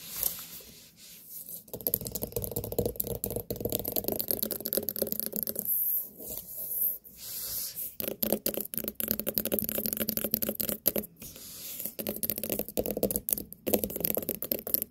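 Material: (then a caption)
Pumpkin rind. Long nails tap and scratch on a large, solid white pumpkin with a sticker on top. Dense, uneven clicks and scratchy rubbing run throughout, with bright, crisp edges and brief pauses between bursts.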